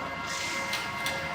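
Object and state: Nothing is struck.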